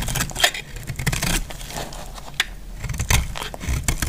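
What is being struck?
Bar of soap cut with a metal blade.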